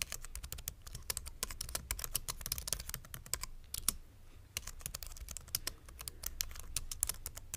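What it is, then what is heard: Plastic mechanical keyboard. Fingertips type steadily on a white plastic full-size mechanical keyboard resting on a wooden board, producing a rapid stream of short, bright key clicks over a low, soft thud. The typing eases briefly just before the four-second mark, then picks back up at the same quick pace.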